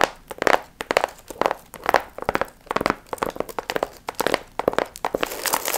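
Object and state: Foil-fringed paper piñata.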